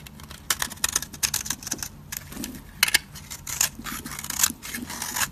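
A solid, dry purple soap bar held in the fingers is scraped and shaved with a metal utility blade, giving a quick series of crisp, bright, dry scratching crackles with almost no ring. Crumbly flakes fall away from the surface as it is shaved.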